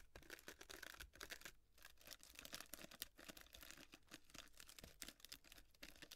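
Long nails scratch and rub the paper-fringed legs of a small, tilted, hollow cardboard and tissue-paper llama piñata. The result is a quiet, dense stream of bright, crinkly scratching and rustling, with rapid dry ticks that barely ring.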